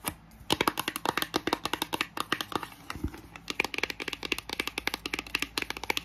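Long nails tap quickly across the faces and edges of a small, hollow pink printed cardboard box made for a Lightning cable, with a fan running in the background. The result is a fast, dense run of crisp, bright clicks that die away almost instantly, with a brief lull near the middle, over a steady low fan hum.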